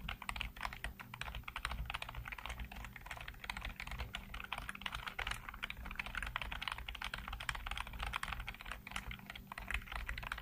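Fingertips type rapidly on the keys of a black plastic backlit computer keyboard, producing a dense, steady stream of short, crisp clicks. A low, constant hum runs underneath throughout.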